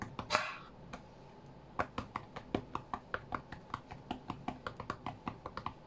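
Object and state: Fingertip taps on a tablet's glass screen.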